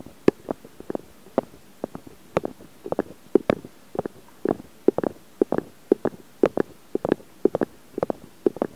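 Fingertips and short nails of both hands rub and scratch directly on the metal mesh grilles of the two small X/Y microphone capsules on a Zoom H4n recorder. The result is a rapid, irregular series of short, dry scratching bursts centered in the low-mid range, with no lingering ring between them.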